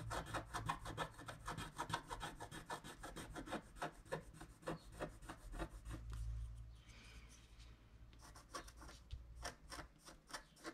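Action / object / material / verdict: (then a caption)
scrape / wax-coated scratch-art paper card scraped with a wooden stylus / waxed paper / none. A wooden stylus scrapes the wax coating of a flat scratch-art card in long strokes along the trunk, making a quick, uneven run of dry, raspy scratches at about three strokes per second. The scratching thins out into a soft low rumble for a couple of seconds near the middle, then the crisp, bright strokes pick up again to the end.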